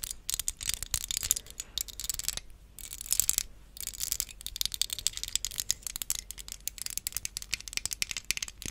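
A small, hollow, transparent plastic hair claw clip is held close to the microphone and tapped and clicked with long acrylic nails. Rapid, dense clicks and rattling taps come in bursts with short pauses, bright and high with very little low end.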